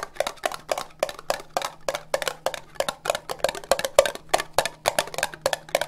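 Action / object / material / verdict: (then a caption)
tap / ribbed plastic cup / plastic / none. Long nails tap fast on an empty, hollow orange ribbed plastic cup. The result is a rapid, uneven run of short, dry clicks with a hollow tone around 550 Hz and bright tips, each dying away almost instantly over a faint steady low hum.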